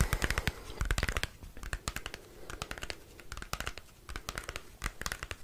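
Fingernails scratch and tap across the surface of a small square cardboard CD album sleeve with a printed photo. The result is a rapid, uneven series of dry, crisp clicks and scratchy rasps. Each one stops almost instantly, with brief quieter gaps between bursts.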